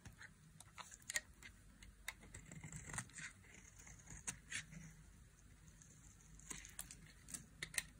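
A dry, solid orange soap bar, partly carved and held in the palm, is scraped with a flat metal blade. Quiet, crisp, bright scratching strokes come in irregular bursts over a faint low rumble, each stroke ending almost instantly with no ring.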